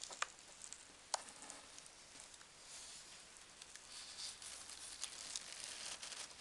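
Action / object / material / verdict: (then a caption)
tap / corrugated cardboard box / cardboard / none. A large corrugated cardboard box is closed over packing peanuts while long dark nails tap on its folded cardboard flaps. Soft, bright crackling and rustling runs throughout, broken by sharp, quick clicks from the nails.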